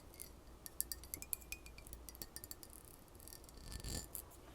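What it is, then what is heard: Glass bottle partly filled with liquid. Fingernails tap quickly on a ridged glass cologne bottle with a plastic cap and cologne liquid inside, making bright, sharp, high clicks over a low background hum. The pitch of the taps shifts as the liquid moves around inside the bottle.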